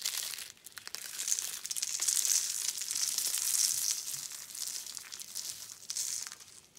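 Yellow, orange and blue dried soap curl roses, rolled into thin dry rings and resting on a dark mat, are squeezed and crushed by hand into flakes. A dense, bright crunching and crinkling runs through the clip with many sharp crackles and no low rumble, swelling and easing in waves as the curls break apart.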